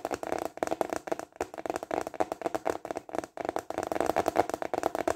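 A thin, flat, translucent plastic container lid is held upright and tapped quickly with fingertips and short nails. The result is a rapid, uneven patter of dry, clicky taps with a hollow plastic tone centered around 700 Hz. Each tap dies away almost instantly.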